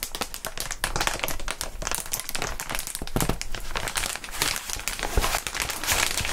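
Clear inflated plastic air column cushion wrap is squeezed and rubbed with the bare fingertips of gloved hands. The result is a steady, dense stream of bright crinkling and crackling with quick squeaky rubs and a low, soft thump beneath, all running at an even level throughout.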